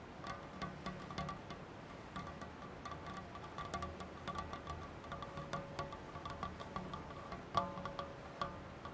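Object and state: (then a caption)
Stainless steel saucepan tapped on the rim. Fingertips and nails tap the rim of an empty stainless steel saucepan with a black handle resting on a cloth. The quick, light taps give a ringing, chime-like tone centered near 1.2 kHz that fades quickly between strikes. A few taps land louder than the rest.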